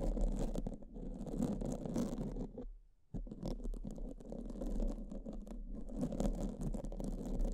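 Pink silicone spoolie brushes held between fingers with long purple nails scratch and rub against black foam microphone windscreens. The result is a dense, continuous scratchy, muffled brushing with a heavy low rumble and bright fizzy edges. It drops out briefly near the three-second mark before resuming steadily to the end.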